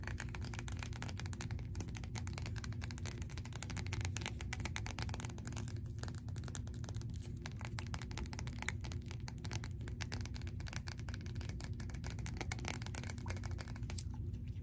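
A small, rounded amber glass bottle with a light-colored top is held in both hands and rapidly tapped and scratched with long nails; the bottle is hollow and its fill level is unclear. A dense, steady stream of short, sharp clicks and scratchy ticks runs for about 15 seconds over a constant low hum and a faint thin high tone.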